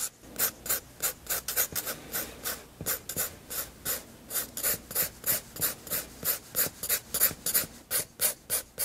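A 7B graphite pencil held in the hand sketches a portrait with light strokes on a large white page of a spiral-bound sketchbook lying flat on a desk. About 28 quick, bright scratching and rubbing strokes sound in a loose rhythm, roughly three per second. Each is a short, airy rasp with almost no low end.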